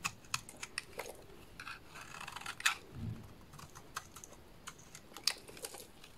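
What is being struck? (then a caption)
Bar of soap cut with a small blade. A solid yellow rectangular bar of soap is held in the hands and shaved into curls with a small dark blade. The sound is a quiet series of crisp, bright scraping clicks at an irregular pace, with a soft rubbing stretch in the middle.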